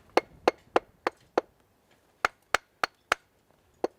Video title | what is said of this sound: Bolting Skills: Drilling | what you're looking for is that solid rock rather than the dull or high pitch sort of fractured rock we don't want to be bolting to